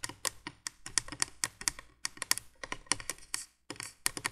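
Long nails tap rapidly on the hollow plastic base of a 1980s plastic window candolier light. The result is a quick, uneven run of sharp, bright clicks with almost no low end and no ring, broken by a short pause near the end before the tapping resumes.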